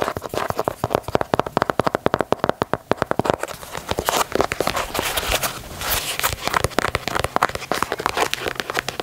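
Long natural nails tap and scratch the perforated leather toe box and side panels of an empty, hollow black and white leather low-top Nike Dunk sneaker held in hand. Dozens of rapid, dry, clicky taps come first, then a stretch of bright, rasping scratches mixed with more taps. The sound is crisp and close, with each tick dying away almost instantly.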